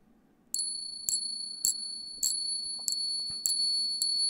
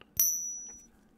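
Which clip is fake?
The second.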